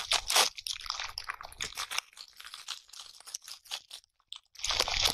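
A pale natural bristle bath brush is moved by hand, its bristle tufts rubbed and scratched across a transparent surface up close. The result is dense, bright, crunchy scratching in rapid irregular strokes. It is loudest at the start and end, with softer, sparser scrapes and a brief silence in between.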